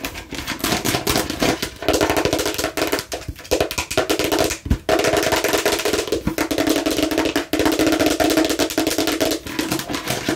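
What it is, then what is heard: Plastic watermelon-slice container. Long nails on both hands tap rapidly on a hollow, hard plastic watermelon-slice container with a red cap. The clicks are dense and continuous, with a hollow mid-range ring and short, crisp decays, and they come in quick bursts with brief pauses.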